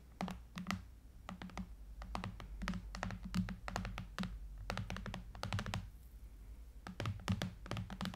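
Fingertips and long nails tap the side edges and glass screen of a silver Apple iPad lying flat, with an aluminum frame. A quick, irregular run of short, dry clicks and soft thunks with a low body, each dying away almost instantly. There is a brief lull near the six-second mark before the tapping resumes.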